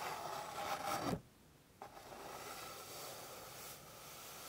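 Long pink fingernails scratch and rub across a flat, light, solid wooden board, producing a dry, broadband rasp. A denser scratch stops abruptly after about a second, followed by a brief near-silence, then softer continuous rubbing resumes until the end.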